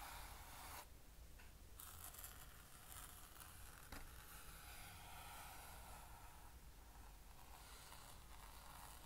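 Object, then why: Plastic lid with fabric pad. Fingertips and nails rub and scratch across the grey soft fabric panel and plastic rim of an empty, flat blue plastic easel lid lying on a table, and a palm presses flat on it. The result is a quiet, continuous scratchy rustle with a bright hiss and a low rumble underneath, plus a brief louder scrape near the middle.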